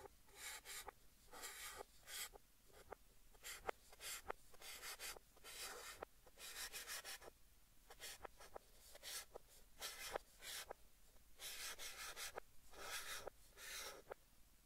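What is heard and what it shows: White chalk held in the hand writes and scratches across a large, flat green chalkboard in a wooden frame, with the sound played in reverse. Bursts of bright, dry scraping strokes alternate with short, sharp taps and brief quiet gaps.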